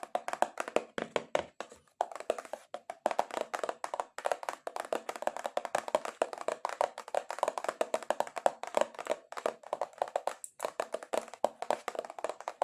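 Long acrylic nails tap aggressively on a cardboard box in a rapid, uneven stream of short, dry clicks with no ring. The taps are mid-pitched around 700 Hz with almost no low end, and there are brief pauses near 2 and 10.5 seconds.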